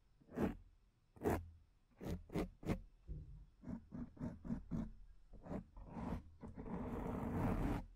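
Long nails scratch the front of a black foam microphone windscreen with both hands, producing a series of short, dry rasping strokes with a low rumbling body. The strokes come faster and then merge into a sustained, dense scratching for the last second and a half.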